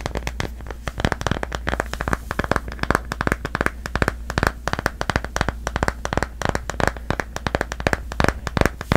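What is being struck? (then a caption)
Plastic phone case on a smartphone. Long nails rapidly tap and scratch the back of a smartphone in a solid pastel cloud-print plastic case held in both hands. Dozens of short, dry, clicky taps mix with faint scratching, over a steady low hum underneath.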